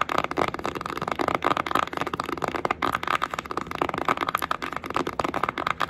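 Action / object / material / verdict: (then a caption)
tap / cardboard eyeshadow palette case / cardboard / none. Long acrylic nails rapidly tap and scratch a flat, red-orange printed cardboard Sheglam Beach Sunset eyeshadow palette, its hollow case held upright. The result is a dense, crackly stream of dry clicks and scrapes, centered around a midrange tone near 1.2 kHz, with very little low end and almost no ring after each tap.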